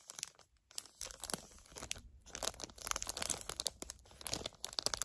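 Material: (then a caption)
Plastic. Long nails crinkle and squeeze a flat plastic package of gel eye pads. The result is a busy run of sharp, bright crackles and crunches, with a few brief quiet gaps between bursts.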